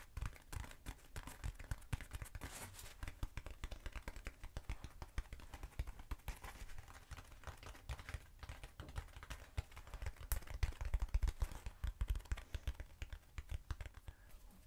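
A short black textured foam cylinder, held upright and then sideways, is tapped rapidly with long acrylic nails. The taps are quick, dry and soft, mostly low thuds with very little ring, and they continue steadily throughout the clip.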